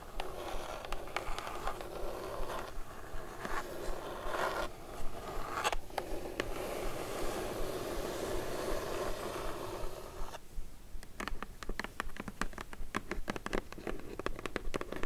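Long pointed nails tap rapidly on the edges and lid of a closed, hollow brown kraft cardboard box with a "B." logo while fingertips rest on top. The first ten seconds are a dense, continuous scratchy rustle. It then shifts to quick, crisp, hollow clicking taps in an uneven rhythm.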